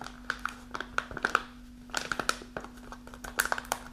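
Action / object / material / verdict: scrape / kraft paper pouch scratched by nails / kraft paper / none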